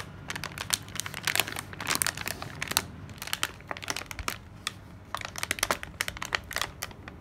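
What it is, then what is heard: Kraft paper package with plastic window. A flat kraft paper sleeve with a clear plastic window, held in the hands, is scratched and crinkled with long nails. Dense, bright crackles and sharp clicky scratches come in uneven bursts, with a short pause in the middle before the crinkling picks up again.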